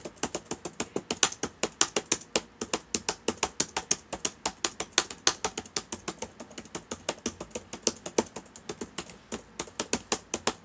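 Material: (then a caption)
Plastic. Fingertips of both hands type on the plastic keys of a black laptop with a hollow body, sitting open on a table. About 60 short, dry clicky taps follow one another in a fast, steady stream. Each tap is bright and crisp, with almost no low end, and dies away almost instantly.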